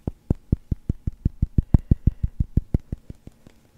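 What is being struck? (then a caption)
Resin billiard ball. A small, solid yellow resin billiard ball is held close to the microphone and tapped with fingertips and nails. About 20 quick taps come in a steady but slightly uneven rhythm over nearly four seconds. Each is a short, dull, low thud that dies away almost instantly.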